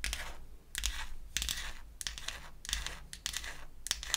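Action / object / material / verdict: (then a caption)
tap / small painted wooden toy makeup case with a hollow box body / painted wood / none. Long acrylic nails tap and scratch the lid of a small, closed, pink-painted wooden toy eyeshadow case, a hollow box. The result is bursts of bright, dry scratching broken by sharp clicking taps, over a faint low hum.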